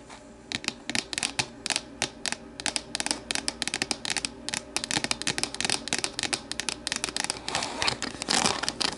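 Long matte navy nails tap and scratch the sides of an empty, hollow, medium-sized translucent plastic deli container standing upright on a wooden table. A quick run of many crisp, bright clicks dies away almost instantly, mixed with short raspy scratches over a quiet background. The taps grow denser and busier toward the end.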